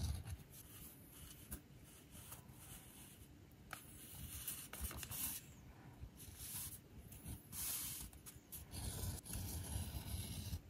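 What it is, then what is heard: Leather edge being bevelled. A metal edge beveler or groover is pushed along the edge of a thin, solid navy leather panel resting on a stone surface, with a fingertip steadying the leather as small shavings are scraped off. Quiet, repeated dry scraping strokes rasp with bright, hissy bursts over a low rumble, with some strokes louder and longer than others.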